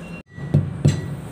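A flat rubber truck tire, worn thin, missing its valve, low on air and unfit for use, is struck three times with a hammer-like blow. Each strike gives a short, dull, low thud around 150 Hz that dies almost instantly with no ring.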